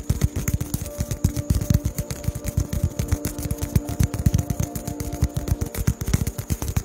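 A small, solid, white polystyrene foam (Durapax) ball is held in one hand close to the microphone and tapped with the fingertips of the other hand. The result is a rapid, uneven stream of soft, dull, low thuds, about four per second, each dying away almost instantly. A faint steady hum runs underneath.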